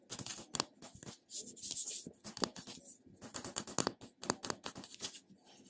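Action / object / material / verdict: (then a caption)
scrape / glass cosmetic jar with metal screw lid / metal, glass / none. Fingernails scratch and tap the top of the brushed silver metal-look screw lid on a small, round, seemingly full glass cream jar held in the hand. The result is a quick, uneven run of bright, dry clicks and scratchy rasps with almost no ring and little low end.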